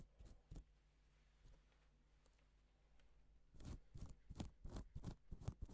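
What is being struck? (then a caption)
Plastic sequin fabric. A gloved fingertip strokes a flat, reversible pink and silver plastic sequin fabric sheet, flipping the sequins over. A few soft, short clicks and rustles sound at the start, then a quiet stretch with a faint low hum, before a quicker run of crisp little flicks near the end.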